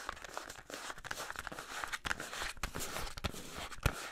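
Fingernails scratch and tap a small printed cardboard box holding a soap bar, held close to the mic. Dry, crinkly scratching runs throughout, broken by short, sharp taps and a few close low thumps. Each tap dies away almost at once.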